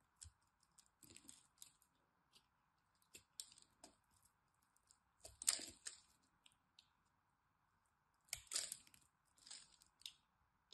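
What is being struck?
Bar of soap scraped with a blade.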